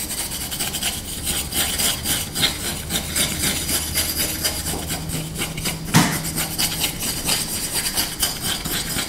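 A small, solid, light wooden spoon is held in the hands while short nails and fingertips scratch and rub quickly along its bowl and handle. The result is a dense, bright, rasping scratch with steady low undertones and one sharper knock partway through.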